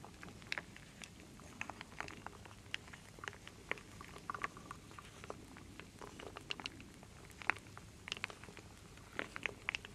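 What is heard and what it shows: A full wooden bowl of small solid wooden beads and acorn pieces is stirred with a wooden spoon, with long nails involved. Quiet, dense, bright clicks and rattles patter continuously, each tick dying away almost instantly, with occasional sharper clacks standing out.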